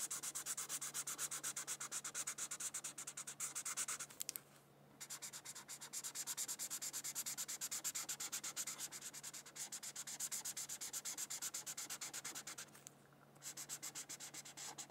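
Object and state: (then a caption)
Felt-tip marker coloring on paper. A red felt-tip marker is rubbed repeatedly over a thin white paper coloring sheet, making rapid, bright, scratchy back-and-forth strokes. The quiet rubbing runs steadily, with two brief pauses near 4.5 and 13 seconds.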